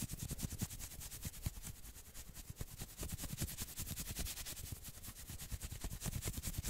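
Fingertips scratch fast along the sleeves of a worn red and black patterned knit sweater. The result is a steady stream of quick, dry scratching strokes with a bright, hissy texture over a soft low rumble.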